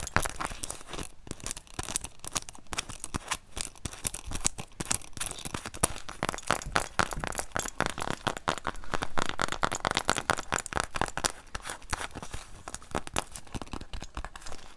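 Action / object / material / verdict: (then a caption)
scrape / leather wallet / leather / none. A small, closed black leather wallet, held up in both hands, is scratched and tapped with long acrylic nails. The result is a dense, continuous run of dry, crackly scratches and quick taps with almost no ring.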